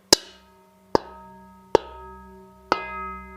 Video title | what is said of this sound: Profoto Live - Holiday Fun | have a beautiful ring to it if you hold the rubber part and knock it once